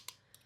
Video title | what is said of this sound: No time for FOMO but it keeps tempting me... | It's a metal thing, but it doesn't sound like there's anything in it. That just sounds like it's an empty can.